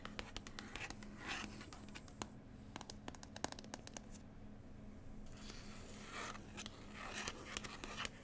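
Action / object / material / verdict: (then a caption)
scrape / paper book with glossy printed cover / paper / none. Long pointed white nails tap and scratch the glossy, slightly textured printed cover of a large New Zealand travel book lying flat, a solid stack of paper. Sharp, dry clicks are interleaved with bursts of bright, brushing scratches, all quiet and close, over a faint steady low hum.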